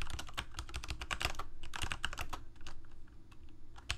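Fingertips of both hands rapidly type on a full-size Corsair mechanical keyboard with plastic keycaps on mechanical switches, a hollow plastic case and blue backlight. The result is a quick, uneven stream of bright, dry clicks and clacks, each over almost instantly, on top of a heavy low, hollow thump that carries most of the sound.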